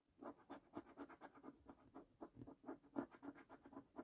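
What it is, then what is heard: Scratch card being scraped with a coin. A coin edge scrapes the latex coating off a thin paper scratch card resting on a wooden table. About 15 short, quick, uneven rasping strokes follow one another, each a dry, papery scratch centred low around 270 Hz with faint bright edges. The strokes are quiet and stop dead with almost no ring.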